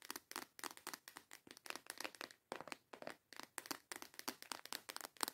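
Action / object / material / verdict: tap / small clear plastic box filled with false nail tips / plastic / none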